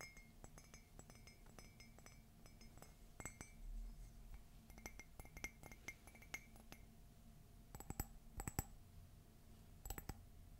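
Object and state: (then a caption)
Ceramic coffee mug. A white glossy ceramic coffee mug printed with "Meet me under the Mistletoe," hollow and empty, is held close and tapped with fingernails. A steady run of quick, light clinks with short, bright ringing tones is heard, some taps landing in rapid clusters toward the end over a low background hum.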